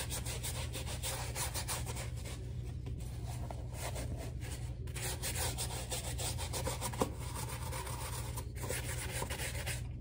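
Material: Rubber.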